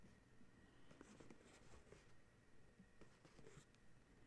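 Fingernails scratch and trace across the glossy printed front of a small paperboard box of dryer sheets, likely full, held on a towel. Soft, irregular rasping strokes sit low and quiet throughout, with brief scratchy bursts.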